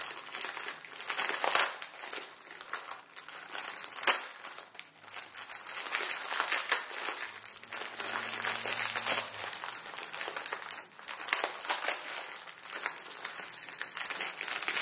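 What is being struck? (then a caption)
Plastic film ramen noodle packet. A plastic film ramen noodle packet with crushed noodles inside is crumpled and squeezed in both hands. It makes continuous bright, crackly crinkling that rises and falls in waves, with sharp snaps and almost no low end.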